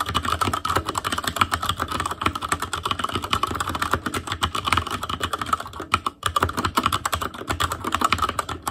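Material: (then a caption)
Plastic. Fingertips of both hands type continuously on an ASUS ROG Claymore Core mechanical keyboard with Cherry MX Red switches and black plastic keycaps on a metal frame, in a hollow housing with RGB backlight. The result is a dense, rapid stream of short, clacky taps with a mid-pitched ring around 1.3 kHz and a low thock underneath. The typing breaks briefly just after six seconds, then resumes.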